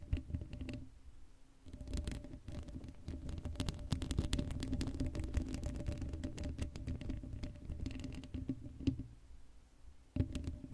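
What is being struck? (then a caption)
Steel mesh microphone grille. Long acrylic nails scratch rapidly across the hollow black steel mesh grille of an uncovered Blue Yeti microphone. The result is a dense, crackling, low rumbling scrape with a faint steady hum underneath. The scratching eases briefly near the start and again before the end.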